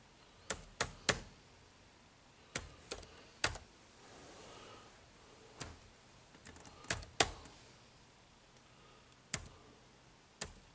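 Fingertips tap the dark plastic keys of an HP laptop keyboard, producing 13 short, dry, bright clicks in irregular clusters separated by quiet pauses. Each tap is brief and sharp with almost no ring, over a low background hiss.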